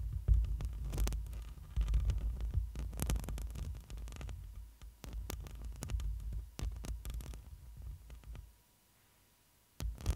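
Long nails and fingertips scratch and brush over the hollow metal mesh grille of a black microphone. The result is a deep, throbbing low rumble broken by dense, irregular scratchy bursts with bright crackling edges. It drops to near silence for about a second before one last scrape.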